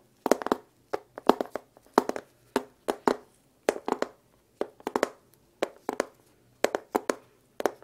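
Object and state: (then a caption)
Wooden box. A small, hollow, dark-red lacquered wooden case with brass clasps and printed lettering is held close to the microphone and handled, tapped and rubbed with gloved fingertips. Quick clusters of short, dry, hollow knocks with a mid-range body sound in bursts, each dying away almost instantly with no ring, separated by brief near-silent pauses.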